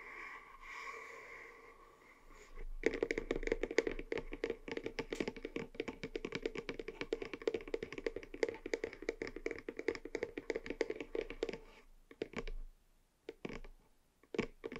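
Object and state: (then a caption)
Cardboard box. A small white cardboard box standing on a table has its sides tapped with fingernails. After a soft, faintly tonal opening, a rapid, steady run of short, dry, hollow clicks with a mid-range body starts near the three-second mark and continues until about twelve seconds. It then gives way to a few scattered taps separated by quiet gaps.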